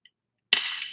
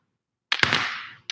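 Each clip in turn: First: cheap plain plastic eyeglass frame. Second: solid acetate eyeglass frame.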